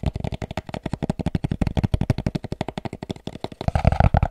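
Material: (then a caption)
Cardboard. A hollow, shaped white molded cardboard packaging insert is held in the hands and tapped and scratched with the fingertips and nails. About 32 quick, dull, low-pitched taps come in a steady rapid rhythm, with each tap dying out almost instantly. Toward the end, the taps give way to a denser, louder scratching.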